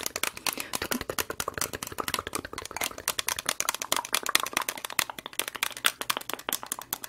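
A single small, clear, ribbed plastic medicine cup, hollow and empty, is held in one hand and tapped and scratched with long red acrylic nails close to the microphone. The result is a rapid, dense stream of crisp, dry clicks and scratchy rattles with almost no ring. The sound is bright and sits mostly in the high range.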